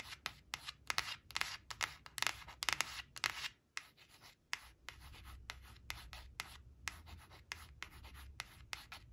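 Long acrylic nails trace and scratch over the printed surface of a thin, flat, glossy coated cardboard word card reading "black" as it lies on a woven fabric cloth. Quick, uneven scratchy strokes come at about two per second, bright and papery with very short decays. Through the middle the scratching is softer and more continuous, with a faint low hum beneath.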